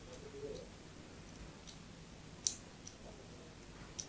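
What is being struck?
Bar of soap scored with a metal blade.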